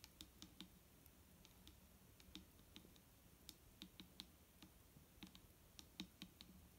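Long painted nails tap along the side of a large, clear plastic micellar water bottle, nearly full of liquid and lying on a wooden table. About twenty quiet, sharp clicks come in an uneven patter, each with a bright tick and a soft low thud near 190 Hz. Every tap dies away almost at once.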